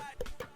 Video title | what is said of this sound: #kemei #hairtrimmer Kemei 2918 Unboxing | you hear that it's hollow inside somehow so I don't really like the plastic body